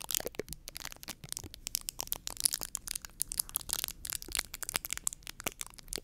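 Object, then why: Foam microphone windscreen. Long painted nails scratch and fingertips squeeze a soft, porous white foam microphone windscreen. The result is a dense stream of dry, bright, crackling scratches and crunchy rustles in quick, irregular bursts, with very little low end and no ring after each sound.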